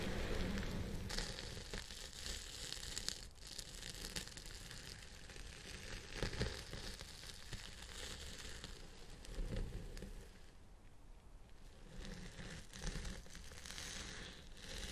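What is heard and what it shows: A small round brush with pink plastic bristles and a zebra-print handle scratches in strokes through a long purple synthetic-fibre wig on a hidden head mount. The result is a dense, crackly, rain-like rustle with a deep low rumble and bright fizzy edges. The brushing holds at a steady level, softening briefly around the eleventh second before picking up again.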